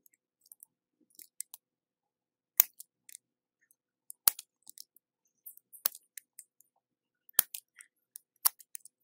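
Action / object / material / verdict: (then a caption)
scrape / bar of soap / soap / none. A red plastic peeler with a metal blade scrapes thin translucent ribbons off the edge of a hand-sized solid orange soap bar held by the fingertips, in a repeated peeling motion. Quiet, crisp, bright scraping clicks come at an irregular pace, with a few sharper, louder strokes standing out. The sounds are almost entirely high-pitched and stop instantly, with no ring.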